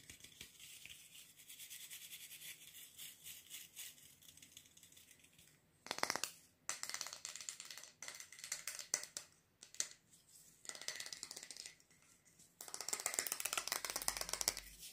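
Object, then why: Bristle brush with a wooden back. Fingernails scratch the bristles of a wooden-backed bristle brush and tap its smooth, solid wooden back. Bright, crackly scratching runs throughout, broken by louder bursts of quick, sharp taps and rustling. A dense, high scratching burst closes the clip.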